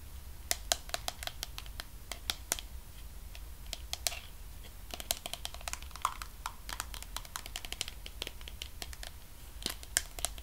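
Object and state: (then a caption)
Plastic cosmetic jar tapped with fingernails. Fingernails tap and scratch the white lid and sides of a medium pink plastic body cream tub held in one hand. Quick, dry, bright clicks come in irregular bursts, with a few sharper accents, over soft scratching and a steady low hum.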